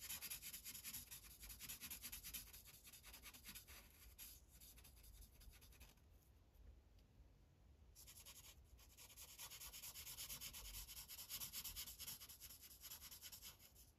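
A green Sharpie felt-tip marker scribbles across a thin white coloring page resting on a plastic clipboard. Quick, bright, scratchy rubbing strokes run in a steady rhythm, soften briefly about midway, then pick back up just as busily until the end.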